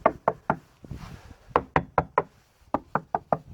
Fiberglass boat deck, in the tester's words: kind of a crisp sound to it